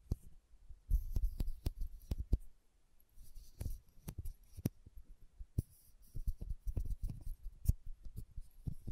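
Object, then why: Small filled glass condiment bottle with plastic cap. Long nails tap the red plastic cap of a small, filled glass condiment bottle and scratch its label. Quick, dull, low taps come in irregular bursts, each dying away almost instantly, with soft scratchy rustling between them and a few faint bright clicks.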